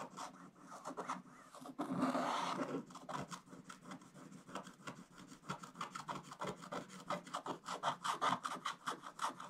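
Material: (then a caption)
Waxed paper. A wooden stick held in the hand scrapes large areas off a scratch-art book page with a black wax coating. Dry scraping and rubbing strokes repeat in quick, uneven succession, with a longer continuous rub near the start. The strokes are gritty and mid-to-bright in tone.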